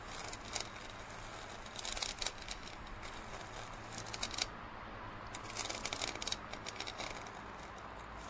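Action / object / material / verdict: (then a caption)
scrape / plastic drinking cup / plastic / none. Fingernails scratch and tap near the blue base of a large, hollow printed plastic drinking cup held tilted with its base down. Quiet, bright, crackly scratching comes in clusters of quick clicks, with a brief pause in the middle, over a faint steady low hum.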